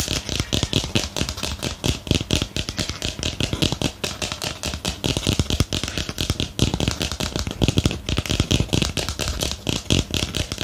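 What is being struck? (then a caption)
Small ceramic planter pot. Fingernails tap rapidly and steadily on the side of a small, hollow white ceramic planter with a lace-pattern rim, held in the hand. The dense stream of crisp clicks has a bright edge and a low, hollow thump beneath it, and each tap dies away almost instantly.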